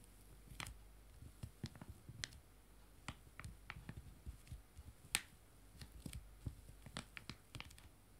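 Two joined small, full foil-laminated wet wipe sachets lying flat are tapped by one hand with fingertips and nails. The result is a quiet, irregular series of sharp, dry taps with a bright, crinkly click, each dying away almost instantly over a low background hum.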